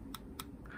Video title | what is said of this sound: [수박 겉핥기 #83] 수박에서 제일 비싼건 무엇일까? 40년대 파텍필립부터 귀갑태까지~ | 하지만 실제로 아세테이트 를 두드리면 다른 소리 가 납니다 .